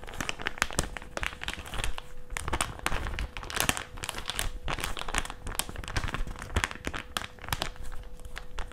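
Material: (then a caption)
Plastic. A small, thin, flat white plastic packaging pouch for face masks is held and bent with both hands and crinkled with the fingers. It makes a continuous run of sharp, bright crackles and crinkles with quick, dry snaps and no ringing. A faint steady tone hums underneath throughout.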